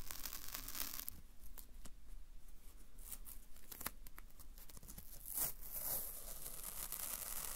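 A white strip of thin paper masking tape with a piece stuck onto it is peeled apart with fingertips and nails close in front of a DR-05 recorder. Soft, quiet crackling peels and papery crinkles come in quick, uneven bursts with bright, hissy edges. A louder, sharper tear swells near the end of the clip.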